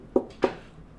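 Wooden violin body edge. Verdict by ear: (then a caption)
Open seam. A finger taps twice along the edge of a wooden violin body, front and back plates, to check whether the plates have come unglued. Each tap is a short, dull, midrange knock around 375 Hz that dies away almost at once. The different sound reveals an open seam on the violin.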